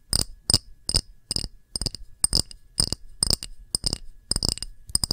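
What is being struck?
Small clear glass dish.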